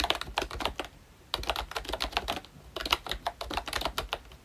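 Both hands tap the round black keycaps of a pink plastic ROYCHE Disney Mickey Mouse retro membrane keyboard with their fingertips while typing. The taps are quick, bright, and clicky, with very short decay and little low end. They come in rapid bursts, with brief pauses near one second and again before three seconds.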